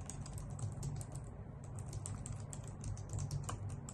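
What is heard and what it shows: Long nails and fingertips type steadily on a white full-size plastic keyboard with hollow key caps. The result is a continuous patter of quick, bright clicks that fade fast, over a constant low hum.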